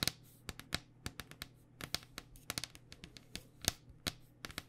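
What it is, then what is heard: Plastic cycling helmet. Long dark fingernails tap rapidly on a hollow white cycling helmet with a plastic shell over foam. Eighteen sharp, dry, bright clicks come in an uneven rhythm, each stopping at once with no ring, over a faint steady low hum.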